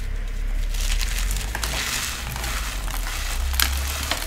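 Pink dyed cornstarch, a pile of powder and small crumbly chunks on a marble-pattern tray, is squeezed, crushed and rubbed between the fingertips and palms of both hands, with untouched glittery cornstarch discs sitting around it. A continuous bright, crunchy, powdery crumbling runs over a steady low rumble, with a couple of sharper crackling snaps near the end.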